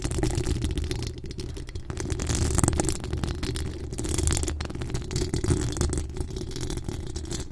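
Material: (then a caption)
Steel mesh. Long acrylic nails scratch the hollow steel mesh grille of a pink decorated microphone, producing a dense, continuous scraping texture. A heavy low rumble sits under rapid bright scratchy bursts that rise and fall without pause.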